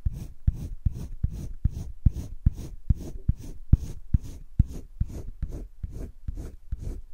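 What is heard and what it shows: A green colored pencil is stroked back and forth across thick cream drawing paper in a spiral sketchbook, shading in a steady rhythm. About 18 soft, scratchy strokes sound at roughly two per second, each a brief, dull, low-heavy rasp with a faint airy top and no ring between them.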